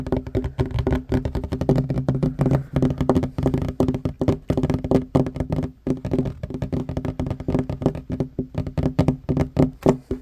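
Fingertips and short nails of both hands tap fast on a flat, solid wooden table top with a worn varnished finish. A dense, continuous run of short, dry knocks with very little ring, weighted toward the low end with a woody tone around 254 Hz.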